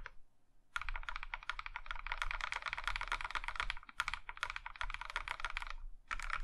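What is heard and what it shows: A compact Plum Iron 165 mechanical keyboard, in a maroon metal case with cream plastic keycaps, is typed on by one hand pressing and tapping the keys with its fingertips. Rapid runs of crisp, bright plastic clacks over a soft low thud pause briefly near four seconds and again near six seconds before typing resumes. Each keystroke dies away almost instantly.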